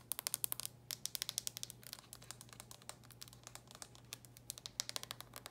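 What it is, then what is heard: Plastic handheld game console. Long nails tap and scratch the closed, glossy red plastic lid of a DS handheld game console. Quick, bright clicks land in rapid, uneven bursts with almost no ring, over a faint low hum.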